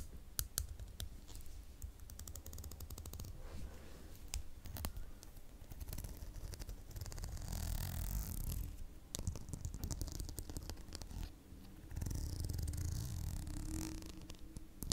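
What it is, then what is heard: Plastic hair comb. Long nails run along and scratch the teeth of a solid, dark green plastic wide-tooth comb held in both hands close to the microphone. Quick dry clicks and ticks patter over a soft, low rumble. Louder, brighter scratchy swells rise around the middle and again near the end.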